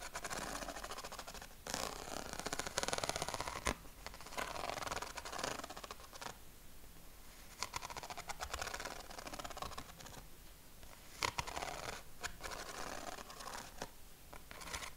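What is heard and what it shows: A sheet of yellow corrugated craft paper is held against the chest while fingernails scratch across its ribs. Dry, rapid rasping scratches come in bursts with quieter stretches between, plus a few sharper clicks, with bright papery texture over a soft low rumble.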